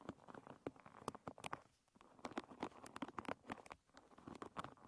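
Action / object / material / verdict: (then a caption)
scrape / wooden pin bristle hairbrush / wood / none. Long red nails scratch across the wooden pins of a wooden paddle hairbrush lying bristles up. Quiet, rapid clicky ticks and patters sound with a brief lull in the middle.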